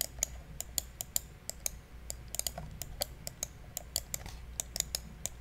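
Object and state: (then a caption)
Plastic computer mouse clicks. Fingertips click the buttons of a small, hollow, black plastic gaming mouse held close to the mic. About two dozen sharp, dry, bright clicks come in an irregular rhythm, each cutting off instantly over a faint low background rumble.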